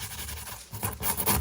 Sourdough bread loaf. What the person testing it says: apparently if you tap it and it sounds Hollow it's done that doesn't sound hollow